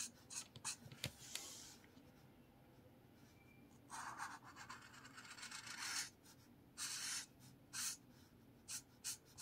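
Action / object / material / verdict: scrape / paper spiral notepad with felt-tip marker / paper / none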